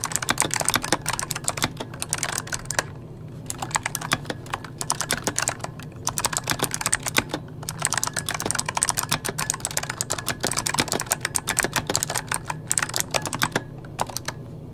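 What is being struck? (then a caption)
Mechanical keyboard with plastic keycaps. Fingertips of both hands type rapidly on a full-size RGB-backlit mechanical keyboard with plastic keycaps resting on a wooden desk. Dense bursts of bright, sharp clicks and clacks with very short decay are broken by brief pauses, over a steady low hum.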